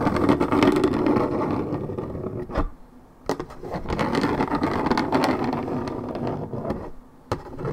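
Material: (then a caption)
Paperboard. Long red acrylic nails scratch the top side of a hollow Minute Maid orange juice carton of coated paperboard, about 1.5 L. Dense, papery scraping rustles in steady bursts, broken by short pauses and a few sharp taps.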